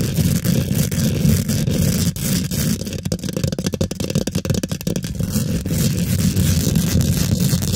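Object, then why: Steel wire-mesh microphone grille. Long pointed glitter acrylic nails scratch and tap fast on a hollow steel wire-mesh microphone grille. The scraping is dense, low and boomy, with a quick run of sharp clicks and taps through the middle before the steady rough scratching returns.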